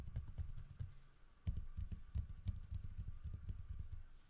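A solid carved wooden bear statue, holding a fish, is held and tilted while fingertips tap and scratch its head and the fish. The result is a run of dull, low, muffled knocks with almost no ring, over soft scratching and faint clicks.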